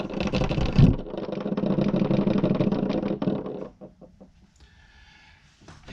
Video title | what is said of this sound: Why Won't My Porsche 996 Suspension Stop rattling? Part 3. Problem Solved? Bonus Reverse Switch DIY! | that is the sound of the ball inside the fuel pump making noise